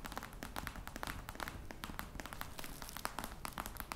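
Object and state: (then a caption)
Faux crocodile leather box tapped with nails. Long red nails tap rapidly on the top of a flat, hollow black box covered in embossed faux-crocodile leather. Each tap is a quick, dry click with a soft hollow low thump beneath it and almost no ring, forming a steady, quiet stream of taps.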